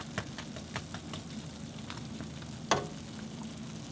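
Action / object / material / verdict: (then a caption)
tap / fried twisted dough doughnut / fried dough / crispy. Twisted Korean doughnuts (kkwabaegi) frying in oil are tapped lightly, giving short crisp, crunchy clicks over a steady low sizzle, with one sharper tap near the end. The doughnuts are golden brown and done after about 5 minutes per side.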